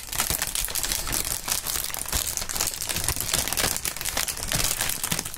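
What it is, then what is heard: Plastic air cushion packaging film. Clear, thin, partly inflated plastic air-pillow packing film is held up and crinkled and squeezed by both gloved hands. The result is a steady, dense stream of bright, crackly crinkling, with quick, short-lived snaps and occasional soft low thumps throughout.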